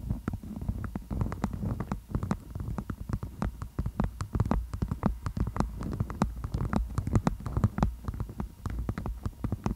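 A beeswax-coated cotton food wrap tented over the microphone is tapped and scratched with long nails, producing a rapid, dense run of sharp crinkly ticks and scratches. Each tap carries a muffled, boomy low thump with a brief bright click, and the sound dies away almost instantly. The activity continues steadily throughout the clip.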